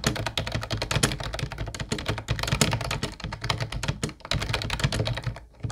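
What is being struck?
Plastic computer keyboard.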